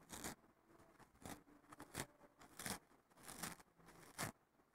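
Fingertips and nails scratch a flat, thin, fibrous green abrasive nylon scouring pad held with one hand on a wooden table. About six dry, bright rasping bursts come at uneven intervals, separated by quieter scraping and a soft low rustle.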